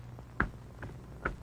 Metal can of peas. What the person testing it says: it sounds solid because it is solid packed with tender peas